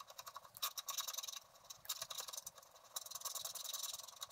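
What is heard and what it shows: A wooden stylus scratches across the upper area of a flat black wax-coated scratch art card while the other hand steadies the sheet. It makes a quick series of short, dry, bright scraping strokes with a hissy texture and almost no low end, coming in clustered bursts with brief softer gaps.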